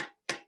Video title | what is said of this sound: O&M Tip Tuesday 6/9/20 | It's a little bit more audio than what a marshmallow tip would be